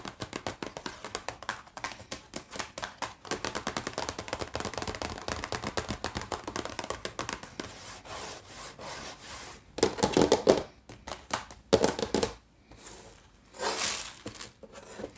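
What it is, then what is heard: Cardboard box of dry rice mix, nail tapped. Long fingernails rapidly tap and scratch the surface of a small Rice-A-Roni cardboard box, full of dry rice and pasta, as it stands and then lies on a wooden tray. A quick run of dry, crisp taps fills the first half, followed by softer, denser scratching and a few louder rasping bursts near the end.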